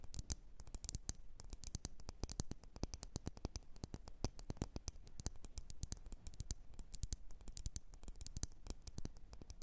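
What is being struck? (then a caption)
Glass candle jar. Long nails tap and scratch the sides of a lit, wax-filled red glass candle jar, producing a quiet, rapid stream of short, sharp clicks. Each tap has a dull low body with brief bright ticks and dies away almost instantly, with soft scratchy noise between taps.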